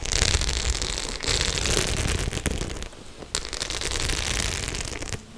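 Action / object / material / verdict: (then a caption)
scrape / studded faux leather clutch bag / faux leather / none. Long nails scratch across the studs of a white studded faux-leather clutch bag, making a dense, steady crackling rasp with bright hiss and a low rumble underneath. The scratching eases into a quieter stretch near the middle, then resumes at full strength before fading slightly at the end.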